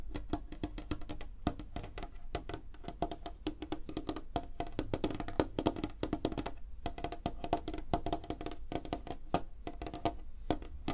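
Both hands rapidly tap fingernails and fingertips on a large, flat, solid light-wood table surface for about 11 seconds. The dense run of short, dry clicks and knocks has a woody tone around 310 Hz, a low thud underneath, and each tap dies away almost instantly.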